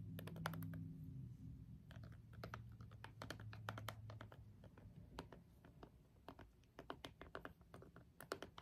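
A green jade stone face roller is rolled over and pressed onto a small hollow plastic LED remote with rubbery push buttons, setting off dozens of quick, irregular button clicks. The sharp, bright clicks arrive in bursts over a steady low hum that is strongest in the first half and then fades.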